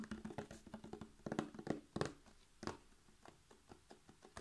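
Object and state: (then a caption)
Paperboard carton, tapped. A hollow, roughly 1-liter Mragowska maślanka buttermilk carton of laminated paperboard with a blue plastic screw cap, fill not visible, is held in one hand and tapped fast with the fingertips and short nails of the other hand along its sides and near the cap. About seventeen quick, dull, hollow taps and light clicks come in an uneven rhythm, mostly low-mid in tone and dying away almost at once. The tapping is loudest early on and grows softer toward the end.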